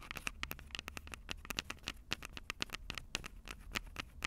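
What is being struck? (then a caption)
Plastic and metal handheld audio recorder with metal-grilled microphones. Long purple acrylic nails tap rapidly on the two metal-grilled microphone capsules of a Tascam DR-05 handheld recorder with a plastic body. The result is a quick, uneven patter of sharp, bright clicks, each with a short metallic ping near 2.7 kHz, over a low, boomy rumble close to the mics.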